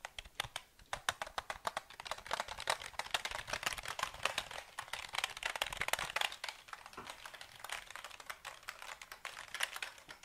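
A KLIM black plastic mechanical keyboard with a grey frame and hollow housing is held up and moved around while fingertips tap and type on its keys. Quick, bright clicky keystrokes run in dense, uneven bursts throughout, each dying out almost instantly with little low end.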